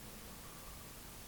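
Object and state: Nothing is struck.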